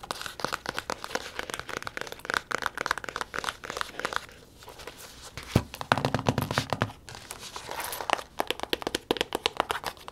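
A small round pink faux-leather case with a gold zipper, held in the hands, is tapped and scratched on its lid and sides with long acrylic nails. The clip is a dense run of very fast, crisp clicking taps mixed with scratchy, crinkling rubs. The taps are too quick and close together to count, with a brief quieter pause near the middle.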